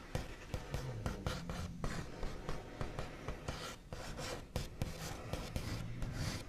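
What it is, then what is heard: Wooden tabletop scratched with nails. The backs of long nails scratch quickly across a solid, flat, white-finished wooden tabletop. The sound is a dense, dry rasping mixed with repeated sharp tapping hits. Its body is low and muted, with short bright clicks on each stroke.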